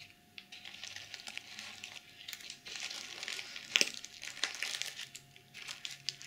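Long nails scratch and rub across a small, soft-bodied, reversible plastic sequin pouch. The result is a dense, bright crinkly rasp with many quick clicking ticks, and a few louder sharp scrapes near the middle.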